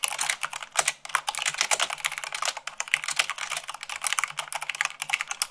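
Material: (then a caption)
Plastic. Rapid typing at about 98 words per minute on a white plastic mechanical keyboard, with fingertips and long nails striking the keycaps. A dense, steady stream of sharp, bright clicks and clacks with very little low end, each one dying away almost instantly.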